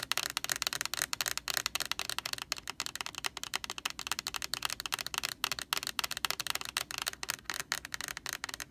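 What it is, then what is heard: Plastic laundry sanitizer jug. Long orange nails tap rapidly on the bare white plastic side of a large, hollow Lysol laundry sanitizer jug. The result is a steady stream of quick, dry, bright clicks with almost no low end, each dying away at once without ringing.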